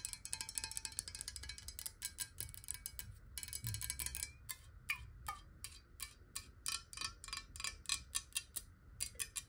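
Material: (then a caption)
Glass. Long acrylic nails tap fast on a square, clear, hollow glass water bottle that is partly filled with water and held in the hands and tilted. The result is a dense run of bright, sharp clicks with very short rings, first in a quick continuous stream and then in looser bursts, some carrying a faint glassy ping.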